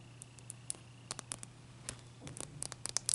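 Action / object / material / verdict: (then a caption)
tap / clear ice block / ice / none. Long nails scratch and tap a solid, clear ice cube that is held in the hand and then set on a towel. Quiet, sharp, bright clicks and short scrapes come in scattered bursts that grow denser and louder toward the end, over a faint steady low hum.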